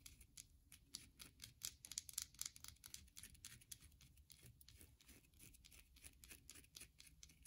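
Long glossy mauve acrylic nails tap and scratch a solid, palm-sized white bar of soap with carved faceted edges, held in one hand above a wooden table scattered with soap shavings. A quiet, rapid and uneven run of dry, bright clicks and scratchy strokes is heard, each snapping off almost instantly with little low end.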